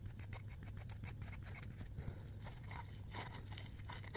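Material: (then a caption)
Foam. A small, soft, round yellow smiley-face foam scrub sponge is quickly squeezed and scratched by fingertips and nails. The result is a steady run of quick, dry scratching and crackling bursts with bright, airy edges over a constant low hum.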